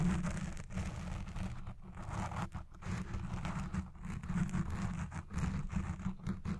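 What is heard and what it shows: Long red fingernails scratch and rub the side of a black soft foam windscreen on a Blue Yeti Pro microphone. The result is a continuous, dense, muffled scratching and rustling that sits mostly in a deep, boomy low range with almost no bright edge, swelling and dipping slightly as the rubbing strokes change.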